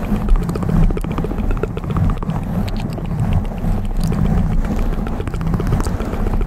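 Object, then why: Foam microphone windscreen. Both hands scratch and tap a black foam windscreen on a microphone with long metal claw nails. The result is a steady, dense rumbling crackle that is heavy in the low end, with quick taps scattered through the scratching at an even loudness throughout.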